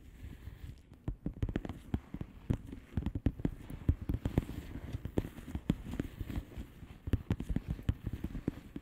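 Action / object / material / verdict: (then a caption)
tap / plastic bubble wrap envelope / plastic / none. Long polished nails tap the bubbles of a flat blue plastic bubble wrap envelope. Quick, irregular runs of soft, dull taps, each dying away almost instantly, sound low and muffled with a few sharper clicks standing out.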